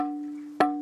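A cut stone from the region, lying on a truck and meant for flooring, is struck by a stonemason to judge its quality. A clear, bell-like tone around 740 Hz rings and slowly fades, then a sharp strike near the end brings a bright crack and sets it ringing again. The bell-like ring means the stone is of good quality.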